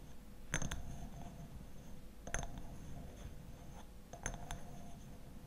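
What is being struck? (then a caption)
Glass bottle. A glass honey bottle with a black lid is tapped, giving short, bright, clinking hits that come in a few clusters over a quiet, low background. Each tap fades almost instantly, leaving only a faint high ring.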